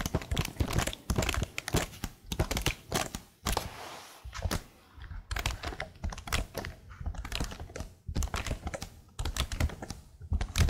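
Long nails tap rapidly across the plastic keys of a plastic laptop keyboard held close, making dense, crisp clicks with a deep, thumpy low body. The tapping comes in quick bursts, with a short, softer pause with a faint hiss before about four seconds, then continues steadily to the end.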